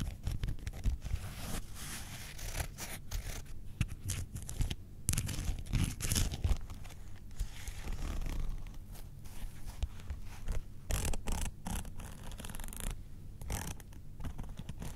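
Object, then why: Faux leather wallet. A closed grey-brown faux leather Star Wars wallet, held on fur, is scratched across its front and edges with long nails, then tilted at the end. The result is a steady, dense run of soft, low scratching and rasping with brief brighter scrapes and no ringing.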